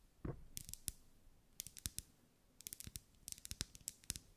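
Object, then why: Wax pillar candle tapped with fingernails. Long acrylic nails tap on a lit pink ribbed solid wax pillar candle in quick irregular bursts. Each tap is a sharp, bright click with a soft low thump beneath it and almost no ring, over a faint hiss.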